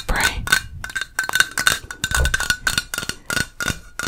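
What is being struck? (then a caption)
Metal aerosol spray can. Long fingernails tap rapidly on the metal body of a yellow Crisco aerosol cooking spray can with a plastic cap. Each tap is a sharp, bright metallic tick carrying a thin ring near 1.5 kHz that dies away almost at once.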